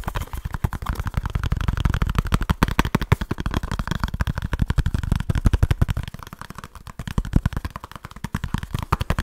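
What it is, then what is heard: Cardboard box. A small kraft cardboard product box is tapped and scratched very fast with fingertips and short nails close to the mic. A rapid, unbroken stream of dry, low, thumpy taps mixes with softer scratching, each hit dying away almost instantly.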